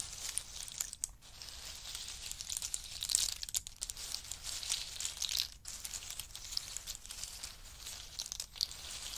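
Fingertips of both hands rummage through and push around a heap of dry, hard-shelled pistachio nuts resting on a fur mat. The shells give a dense, bright rattle of tiny clicks and crackles, almost continuous with a few brief pauses and little low end.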